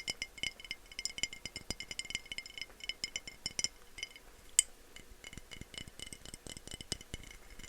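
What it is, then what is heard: Textured glass spray bottle. Rapid, light tapping on a green textured-glass spray bottle, bought for kitchen counter spray, makes many short, bright clinks with almost no ring. One sharper, louder click stands out near the middle.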